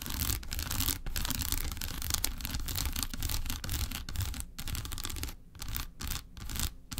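Long acrylic nails rapidly scratch and tap the segments of a large solid milk chocolate bar, first resting on a paper plate and then lifted. The result is a dense, steady bright rasp over soft low thumps, broken by a few short quiet gaps toward the end.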